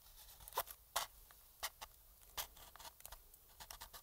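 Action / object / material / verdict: scrape / plastic game controller shell / plastic / none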